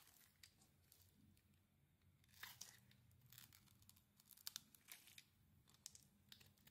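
A thin metal blade carves a dry, hand-sized, solid rectangular white "Nature" soap bar held in one hand, shaving off crumbly flakes. Quiet, bright, crisp scraping and crackling cuts come in short bursts with a few sharper crunches, over a faint low hum.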